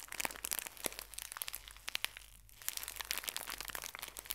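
A full, small pocket tissue pack in thin plastic wrap is bent and crushed by both hands with long nails. It makes dense, bright crinkling and sharp crackling, with a brief quieter lull near the middle before the crinkling picks up again.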